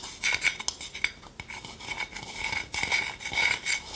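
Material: Wood.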